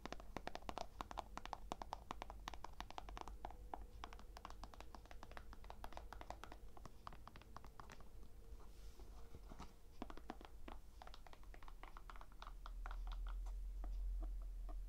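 Long nails tap quickly on a hollow, empty white low-top sneaker held in both hands, first on its textured white rubber sole and then on the side of its smooth leather-like upper. The result is a quiet, rapid, uneven patter of short, dry clicks with almost no ring, over a steady low hum.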